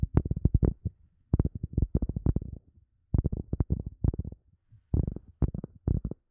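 A round, coaster-sized cork disc held in both hands is tapped and scratched with long nails. Rapid, soft, dull clicks and scrapes come in short bursts with brief pauses between. The sound is low and muffled, with no ring after each tap.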